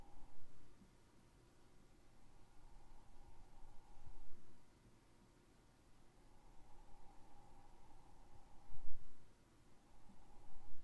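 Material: Nothing is struck.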